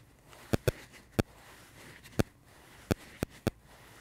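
A dry pink porous foam sponge held in the hands is squeezed and scratched with fingertips and thumbs. Seven short, soft, dull taps stand out over a faint continuous scratching rustle, each dying away almost instantly.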